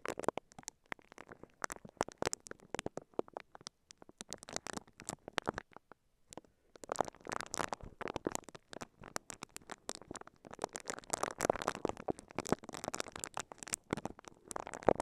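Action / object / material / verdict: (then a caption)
scrape / plastic-wrapped microphone brushed with silicone bristles / plastic film / none. A microphone covered in clear crinkly plastic wrap is brushed and scratched with the bristles of a pink silicone scalp massager held in both hands. Dense, bright crackling and scratchy rustling bursts rapidly across the clip, with a brief quiet pause around the six-second mark before the crinkling resumes.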